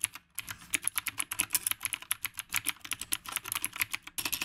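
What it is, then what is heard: Mechanical keyboard with round plastic keycaps. Fingertips of both hands type continuously on a retro typewriter-look mechanical keyboard with round plastic keycaps. About 32 quick, bright plastic clacks dominate, each dying out almost instantly with very little low end. The typing breaks off briefly near the start and just before the end.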